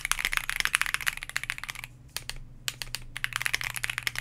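A white Bakeneko60 60% mechanical keyboard, with a plastic case, PBT dye-sub keycaps, an FR4 plate and lubed KTT Grapefruit linear switches, sits on a desk mat while both hands type rapidly with their fingertips in a typing test. The result is a dense run of short, bright, sharp clacks with no ring, and a brief lull just past the two-second mark before the fast typing resumes.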